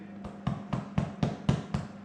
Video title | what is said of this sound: Bread Making | i'm listening for that nice hollow sound so that i'd say it's pretty much done